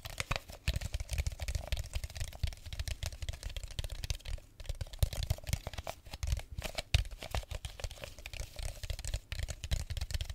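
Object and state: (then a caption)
Plastic bottle. An empty clear plastic drink bottle with a red cap is crinkled and tapped with fingers close to a microphone. Dense, rapid crackling taps layer bright crinkles over deep, soft thumps. The bursts continue unevenly for about ten seconds with only brief pauses.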